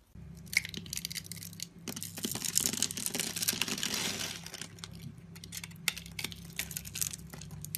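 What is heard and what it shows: A metal utility-knife blade scores a solid rectangular yellow soap bar with an embossed logo, held in one hand, into a grid of small cubes that shave and crumble off. The result is a dense run of crisp, bright scraping and crackling cuts that swells to its fullest in the middle, over a faint low steady hum.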